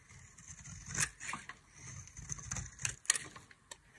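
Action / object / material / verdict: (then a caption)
scrape / soap bar scraped with a metal blade / soap / none. A solid oval bar of dry white embossed soap, held in the hand, is shaved with a metal utility knife blade. Short, bright scraping strokes and crisp cutting clicks come in quick, uneven bursts, mostly high-pitched with a faint low rumble underneath.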